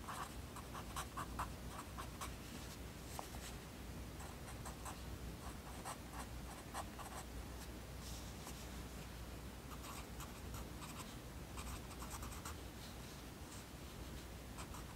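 A yellow wooden pencil writes text on the page of an open lined paper notebook, its graphite tip scratching across the paper while the other hand rests on the page. Quiet, continuous scratchy strokes come in bright, irregular bursts over a steady low hum. The scratching runs through the whole clip.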